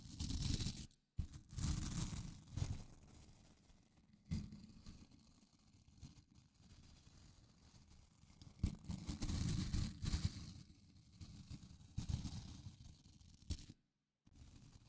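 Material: Nylon.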